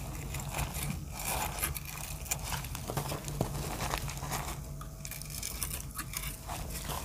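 A hand-sized, solid, heart-shaped block of dry reformed soap, grey-blue with teal and dark speckles, is held in one hand while a snap-off utility knife blade scrapes and cuts thin flakes off its surface onto a pile of shavings below. The result is a steady stream of dry, crumbly scraping and crunching with short crackly clicks over a low hum.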